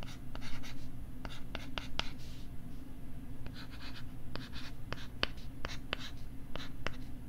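A stylus scratches and writes on the back side of a pink plastic LCD writing tablet held beside the mic. A steady low rumble sits under soft scratching strokes and sharp, bright clicks scattered throughout.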